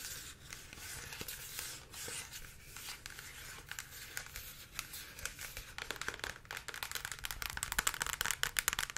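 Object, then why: Plastic pump bottle of liquid. Long acrylic nails tap and scratch a tall, clear plastic pump bottle of liquid body-care product, with a blue label and an orange pump, held close. Steady, bright scratching and rubbing gives way to faster, sharper tapping clicks that grow louder toward the end.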